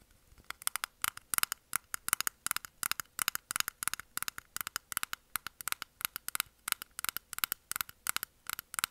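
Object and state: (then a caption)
Clear plastic makeup puff container. A small, round, closed clear plastic container holding pink makeup puffs is held in both hands and tapped with long nails. The result is quick, irregular bursts of sharp, bright clicks centered around 1.4 kHz, each dying away almost instantly, with almost no low end and a quiet overall level.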